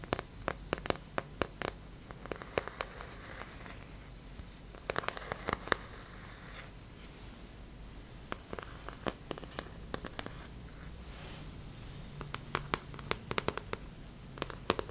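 A large, thin, hollow-backed white plastic artist's paint palette with round wells, empty and held up in both hands, is tapped and scratched with fingertips and nails. Quick, dry, bright clicks come in scattered bursts, mixed with short scratchy rasps over a quiet, low background hum. Each tap dies away almost instantly, with no ring.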